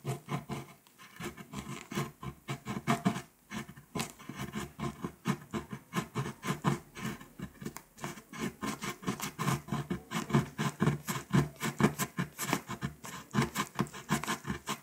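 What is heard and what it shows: A metal coin held under a long nail scrapes the foil layer off a flat, foil-coated paper scratch-off map poster. The result is a steady run of quick, dry scratching strokes with a low papery body and a bright, rasping edge, each stroke short with almost no ring.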